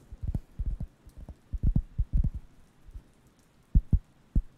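A round, flat, thin wooden (cork-like) solid coaster is held near the microphone and scratched and tapped with the fingertips. It produces a series of soft, dull, low thumps in irregular clusters, each dying away almost at once, with brief scratchy rustles between them and almost nothing high or bright.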